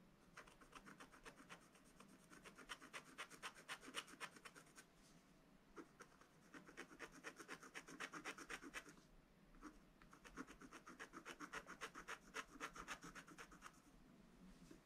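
A wooden stylus repeatedly scratches and rubs the black coating of a scratch-art book page, exposing the rainbow layer beneath to fill in the bunting at the top. Quick, dry rasping strokes come in three bursts separated by brief pauses, bright and papery with almost no low end.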